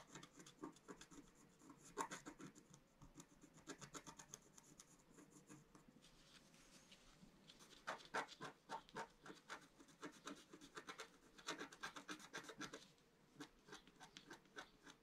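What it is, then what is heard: Scratch-art paper being scratched. A pointed wooden stylus held in the fingers scratches across a flat, solid, roughly A4-sized black-coated scratch-art sheet over rainbow foil lying on a table. Quick, irregular strokes make dry, bright rasping and scraping sounds with short pauses between bursts. Each stroke is crisp and dies away almost at once.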